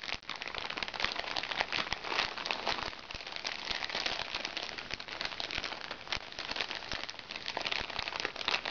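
A crinkly plastic package is turned and squeezed between both hands, crinkling the plastic. A dense, bright crackling rustle runs steadily through the whole clip with almost no low end.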